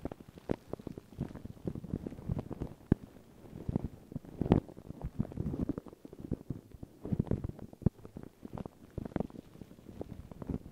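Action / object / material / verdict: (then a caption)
scrape / paper tissue over microphone / paper / none. Long pink nails and fingertips scratch and rub crinkled thin white paper tissue stretched over a round microphone head. The result is a dense, continuous stream of quick crackling and scratching bursts, with occasional sharper, louder rustles. The sound is close and muffled, weighted toward low frequencies with little bright top end.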